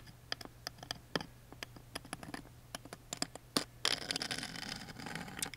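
A wooden toothpick taps and scratches along the engraved relief of a thin, small laser-engraved wooden lid on a tiny music box. A quick, uneven run of light, dry, bright clicks and ticks gives way near the end to a continuous rough scraping.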